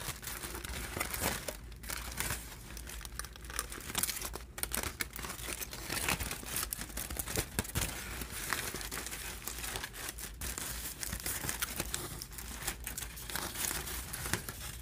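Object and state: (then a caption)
Crumpled aluminium foil sheets. Hands with long nails peel back layers of a stack of crumpled, thin aluminum foil sheets and crinkle them. Continuous bright crinkling and crackling with dense, rapid small bursts runs throughout, over a steady low hum.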